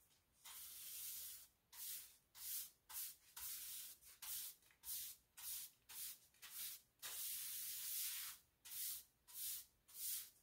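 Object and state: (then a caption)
Ceramic tile floor. A pink broom with dark plastic bristles is brushed and swept across large beige ceramic bathroom floor tiles with a solid surface. It makes about fifteen bright, hissy scrubbing strokes in an uneven rhythm, with two longer sweeps near the start and middle. The sound is almost entirely high-frequency bristle scratch with no low rumble.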